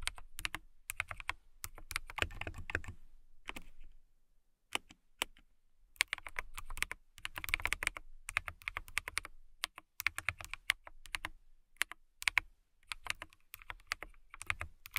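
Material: Acrylic.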